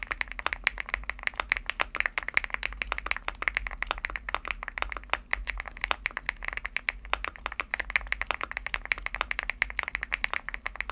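Fingertips type steadily on a Womier SK75 75% mechanical keyboard with an aluminum case and pastel plastic keycaps. A fast, continuous stream of short, dry clacks has a bright, crisp tone centered around 2 kHz, with very little low end and almost no ring after each tap.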